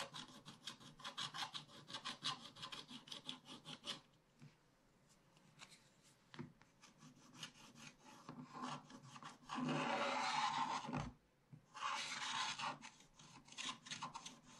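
A wooden stylus repeatedly scratches a thin wax-coated paper scratch-art page while the other hand holds the page flat. Quick, bright, rasping strokes come about three per second, then thin out into quieter, scattered scratches. Two longer, louder bursts of continuous scraping follow before the short strokes resume.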